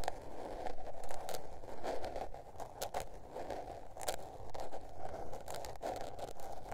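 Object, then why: Spiral-bound paper notebook cover. Long nails scratch the blue patterned paper cover of a small spiral-bound notebook, making a steady dry rasping with a papery midrange hiss. Short bright ticks and scrapes break through as the nails drag and catch across the surface, rising and falling in loudness throughout.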